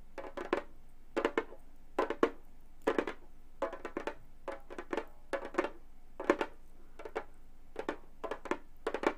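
A hollow frame drum with a synthetic head is tapped quickly with long gold metal claw nails. The clip is made of fast clusters of short, dry clicks and taps with a mid-range body near 460 Hz and bright clicky tops. Each tap dies away almost at once, and quiet gaps fall between the bursts.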